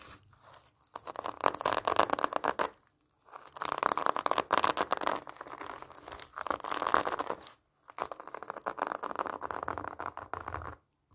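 Long painted nails scratch and tap over a large whole pomelo wrapped in orange plastic mesh netting with a red ribbon band, held in both hands. Dense, crinkly scratching comes in several bursts separated by brief pauses, centered around 1 kHz with a bright rasp on top, and the taps die away instantly.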